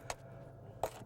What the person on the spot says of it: you should be able to hear the glassy sound and that's just this is all amethyst here